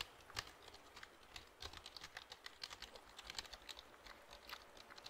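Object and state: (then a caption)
Plastic computer keyboard. A full-size black plastic computer keyboard with a hollow body is held tilted in front of the mic while fingertips tap and press its keys. Quick, bright, clicky taps come in an uneven stream with very short decay, and a few land harder than the rest.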